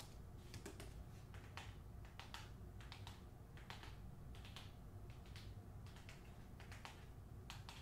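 Long nails tap rapidly on the front cover of a closed hardcover novel, The Hacienda, which has a glossy paper dust jacket. The quiet, crisp, bright clicking taps come in quick irregular bursts over a low, steady rumble.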